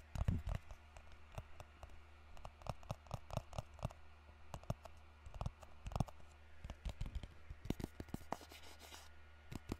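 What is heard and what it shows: A small, hollow white rectangular cardboard product box is held in both hands close to the microphone and tapped and scratched with fingertips and nails. The result is a quiet stream of dry, short clicks and scratchy rasps over a low steady hum, with a denser bright scratching patch near the end.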